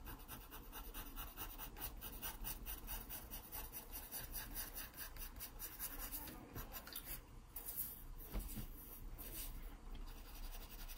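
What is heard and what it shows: A wooden graphite pencil, held low and tilted, shades near the base of a pear drawn on an open paper sketchbook page. The pencil scratches the paper in a steady, soft rasping rub over a low, quiet rumble, with faint brighter scratchy streaks throughout.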